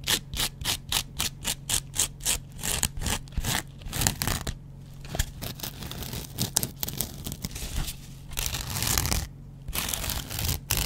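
A yellow foam kitchen sponge is scratched with a double-edge razor blade held in the fingers. A quick, even run of short, bright scratching strokes gives way to longer, rougher continuous scraping with brief pauses, over a steady low hum.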